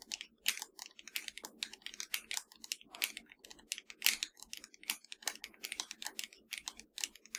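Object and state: Plastic game controller.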